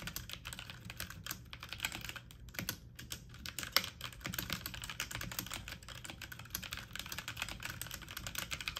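Fast typing on a full-size backlit mechanical computer keyboard with plastic keycaps, pressed with fingertips and medium nails. A dense, steady stream of quick, bright plastic clicks and taps runs throughout, each dying away almost instantly, with one sharper clack near the middle.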